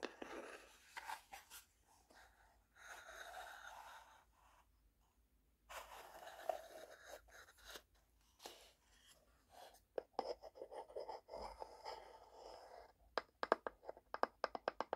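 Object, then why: Small wooden box with sliding drawer. A small hollow wooden tea box has its inner wooden drawer slid in and out while long nails scratch across the wood. Soft, dry scraping and sliding passages alternate with brief silences. The clip ends in a run of sharp, bright clicks and scratches.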